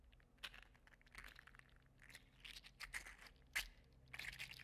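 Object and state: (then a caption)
3D printed plastic articulated slug toy. A hand-sized, hollow-segmented, gold-green 3D printed plastic (likely PLA) articulated slug toy is held in one hand and flexed and squeezed with the fingers. Its interlocking segments give quiet, irregular bright clicks and crinkly rubbing scrapes that die away quickly, with a few sharper snaps standing out.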